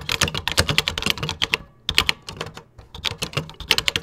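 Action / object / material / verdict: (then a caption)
tap / plastic computer keyboard keys / plastic / none. Fingertips type quickly on the beige plastic keys of a Tandy computer keyboard, producing rapid, bright, clicky keystrokes that die away almost instantly. Bursts of typing are broken by two short pauses, with a faint low thump under each press.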